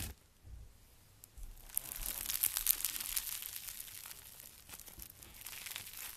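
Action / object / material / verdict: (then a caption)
scrape / slime with polystyrene foam beads / foam beads / none. Fingertips and long nails squeeze, press and stretch apart a soft, solid, hand-sized ball of pink slime packed with small polystyrene foam beads. After a quiet start, dense, bright, crunchy crackling builds from about a second and a half, peaks in the middle, then thins into scattered crackles toward the end.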